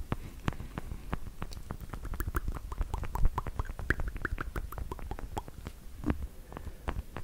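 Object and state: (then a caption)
Plastic fake nails tapping. Long, black, pointed plastic fake nails on small, hollow fingertip covers are tapped together in front of the mic. The result is a quick, uneven stream of soft, dry clicks and light ticking, with a muffled low thump under each tap and faint hollow pings between them.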